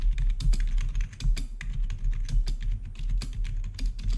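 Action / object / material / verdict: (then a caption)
tap / plastic membrane keyboard / plastic / none. Fingertips of both hands type rapidly on the keycaps of a full-size black plastic membrane-style gaming keyboard with blue-to-red backlit keys. The keystrokes form a dense, steady stream of short clacks, each with a dull low thump under a brief bright click that dies away almost instantly.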